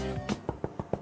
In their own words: ça sonne creux c'est bon c'est bien cuit